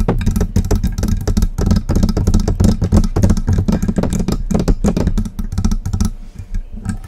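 A silver metal desktop USB microphone with a hollow body on a stand is tapped and scratched on its lower body and base with long press-on acrylic nails. The sound is a dense, irregular stream of quick, dull knocks and scrapes, heavy in low, boomy tones around 100 Hz with very short ring, thinning toward the end.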